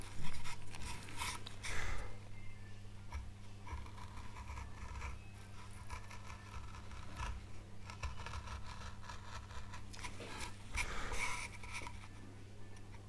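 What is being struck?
Small light wood carving panel.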